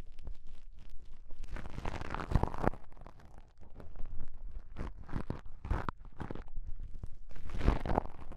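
Small folded pieces of beige self-adhesive elastic bandage fabric are pinched and rubbed together between fingertips, one piece in each hand. This makes a soft, crinkly scraping and crunching rustle with a low, rumbling body. Brief bursts of friction rise and fade in slow waves.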